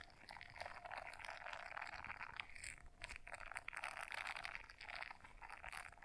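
A small blue silicone scrubber brush is folded in half in both hands while long nails scratch across its bristles. The result is a dense, continuous crackling and scratching texture, bright and crisp, that swells and eases in uneven bursts over about six seconds.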